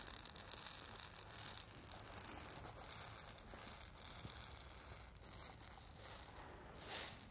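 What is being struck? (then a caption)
Small hollow lacquered wooden ball rattle. A small, hollow, lacquered and painted wooden ball rattle is held in the hands, shaken and turned while long nails tap it. The result is a quiet, continuous, bright rattling hiss with faint clicks, swelling briefly louder near the end.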